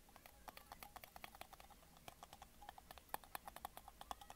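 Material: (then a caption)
Glass. A small, empty clear glass mason jar with a metal screw lid, held in one hand, is tapped with the fingernails of the other. Quick, quiet clicks and taps follow one after another with a faint glassy ring around 840 Hz and bright ticks. Each tap dies away almost instantly.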